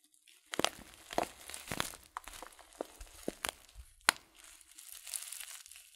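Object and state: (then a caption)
Coated paper tea packet. A filled, glossy coated-paper tea packet of loose-leaf tea is turned and crinkled in the hands. Soft, dry crinkling is broken by sharp, bright crackles and snaps, with quiet rustling between them.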